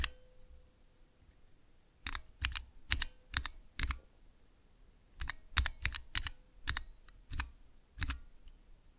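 Fingertips with long nails press and tap clear plastic keycaps on Cherry MX switches with red, clear and green stems, set in the clear plastic base of a mechanical keyboard switch tester. Sharp, bright plastic clicks with a low thump underneath come in small clusters separated by quiet pauses, each decaying almost instantly.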